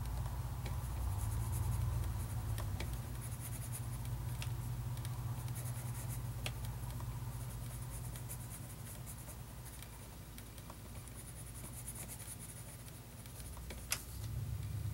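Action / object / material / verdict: scrape / graphite pencil on paper notebook page / paper / none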